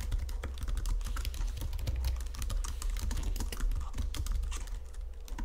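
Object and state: Plastic computer keyboard.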